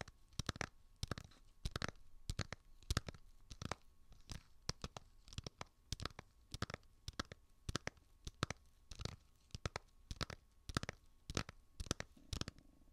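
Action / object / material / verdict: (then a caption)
tap / small plastic game cartridge case / plastic / none. A small hollow plastic Zelda 3DS game case is held close to the mic and tapped and scratched with fingernails. Quick dry clicks land in an uneven rhythm, each with a hollow low thump and a bright edge that dies almost instantly. Soft scratchy rustling fills the gaps between taps.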